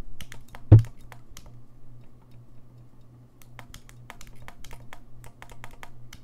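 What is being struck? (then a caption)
Brass saxophone keys. Fingertips tap and click the keys of a gold-lacquered brass saxophone, its body and bell close to a microphone. A rapid series of small, dry clicks runs throughout, with one heavier low thump early on, over a steady low hum.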